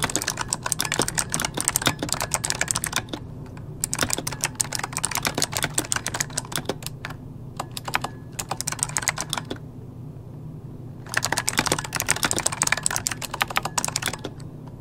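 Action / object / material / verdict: tap / plastic mechanical computer keyboard / plastic / none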